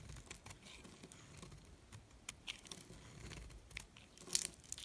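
A metal blade slices and scrapes pieces off a solid red soap molded into a figure and held in the hand. The result is quiet, dry, crunchy scraping and crinkling with bright, crisp clicks, growing a little sharper near the end.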